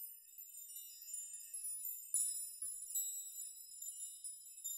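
Hands grasp and rock strands of hanging metal nails so they chime against each other. The sound is a quiet, continuous bright tinkling with several sharper jangles, all high-pitched with no low end. Each clink rings only briefly.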